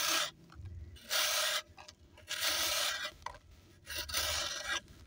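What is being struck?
Pressed sand block.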